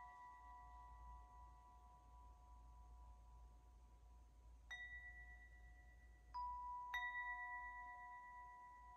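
A hand-held wind chime with several long hollow metal tubes is gently shaken and struck by hand so the tubes hit the central clapper. Already ringing tones hold steady until three clear, bell-like strikes land near the end. Each strike rings out long over a faint low rumble.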